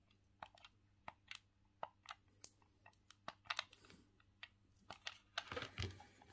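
Thumbs click the face buttons and D-pad of a hollow grey plastic Sega Saturn gamepad held in both hands. A quick, uneven series of short, dry, bright plastic clicks sounds over a faint steady low hum, with a denser burst of clicks near the end.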